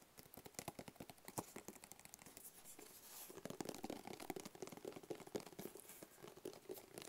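Fingertips and nails tap and scratch a medium, hollow, black rigid cardboard box with a white barcode sticker. Quick, dry, papery taps come in dense flurries, and a smoother scratching stretch around three seconds gives way to more rhythmic tapping with a hollow mid-pitched knock. Each hit dies away almost instantly, without ringing.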